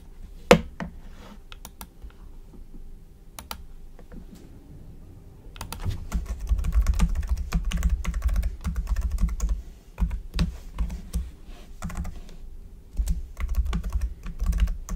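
A black plastic computer keyboard on a desk is typed on with the fingertips of both hands. Sparse key taps in the first few seconds give way to denser, steadier typing with soft clicks and low thumps, dotted with a few sharper, brighter keystrokes throughout.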